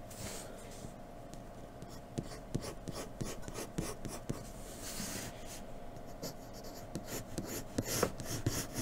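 A graphite pencil in a blue holder scratches quick, irregular strokes across a sheet of flat white drawing paper resting on a dark table, shading in the hair area. Soft papery rasps come in uneven bursts with brighter scratchy accents, over a faint steady hum.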